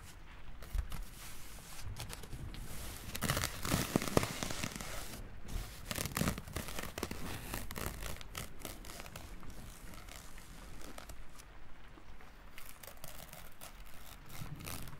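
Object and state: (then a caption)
Feather rubbed between fingers. A long, dry, light dark brown feather is held in one hand while the fingertips rub and stroke along its vanes. This makes soft, crinkly, crackling rustles that run continuously. Denser, brighter bursts come between about 3 and 7 seconds, then ease back to a quieter, steady texture.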